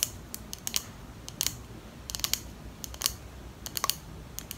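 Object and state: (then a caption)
Glass perfume bottle tapped with fingernails. Long acrylic nails tap quickly on a small clear glass perfume bottle with a pink plastic cap, held in both hands. About sixteen sharp, bright clicks come in loose clusters, each dry and instantly gone with no ring, over a faint low background hiss.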